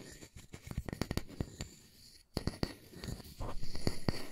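A solid round wooden disc held in one hand is scratched and tapped on its face with fingertips and nails. Short, dull, low taps come in a quick, irregular series over a soft scratchy rustle. After a brief pause, the tapping resumes and the scratching grows louder toward the end.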